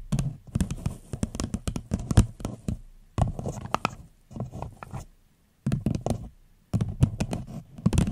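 An empty floral paper cup held over a microphone is tapped with long nails in quick bursts separated by short pauses. Each tap is a short, dry, hollow thump, deep and muffled, with a faint bright click on top and almost no ring.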